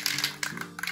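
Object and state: Spray paint can with mixing ball rattling loose inside.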